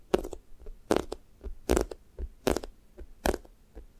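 Fingernails press into a thick strawberry toast squishy toy of soft, solid foam with a pink sticky top, then peel off and leave dimples. Each press-and-peel makes a short, crackly, sticky squelch with a bright tacky edge, repeating at a loose, uneven pace with quiet gaps between.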